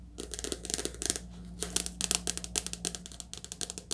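Fast, continuous tapping on a soft cover paper book produces dense, dry, papery clicks with bright crinkly highs and very little ring. A low steady hum sits underneath throughout.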